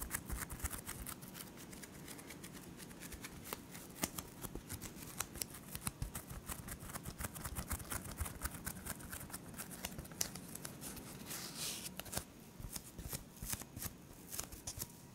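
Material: Polyethylene foam.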